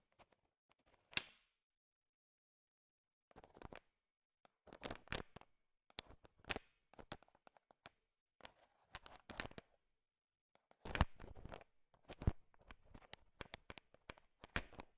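A heap of small, hard sugar-shelled peanut M&Ms filling a bowl is stirred and tapped with a thin wooden stick. Irregular bursts of quick, dry clicks and rattles are separated by silent pauses, with short bright ticks over a low thump.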